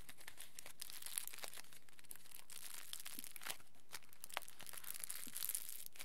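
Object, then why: Small folded aluminium foil packet. Fingertips squeeze and crumple a small folded aluminium foil square into a smaller packet. The result is a quiet, steady crinkling with bright, high crackles and occasional sharper crunches throughout.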